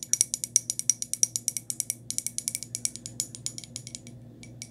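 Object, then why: Glazed ceramic cup. Long nails tap the bottom and sides of a small white glazed ceramic cup that is turned over. Quick, uneven bright clicks sound with a high, glassy ring that dies almost at once. The taps grow softer and sparser toward the end.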